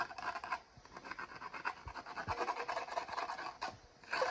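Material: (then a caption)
Foil. Fingertips and nails rub and scratch the foil lid and rim of a Maggi instant noodle cup. The result is a dry, raspy scratching in quick, uneven strokes, mostly in the mid range with some brighter edges, with short quieter gaps in between.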